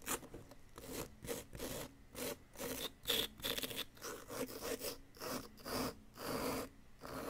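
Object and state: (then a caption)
Plaster block being scraped. A wooden chisel scrapes grooves into the side of a solid yellow-green plaster dig-kit excavation block, piling up plaster powder. About eleven short, dry, gritty scraping strokes come in quick bursts, rasping and bright with little low end.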